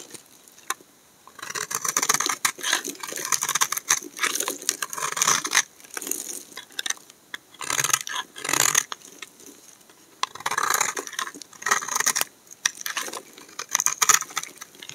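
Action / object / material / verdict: scrape / bar of laundry soap scraped with a knife blade / soap / none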